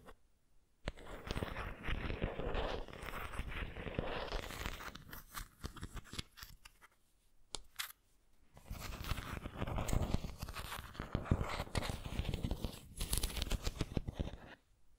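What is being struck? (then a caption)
Ceramic pineapple figurine. Long nails scratch the body and leafy top of a white textured ceramic pineapple figurine, making a dense, dry scratching and crinkling texture. The scraping comes in two long stretches separated by a brief near-silent pause around the middle, with a low, full body and quick, short-lived strokes.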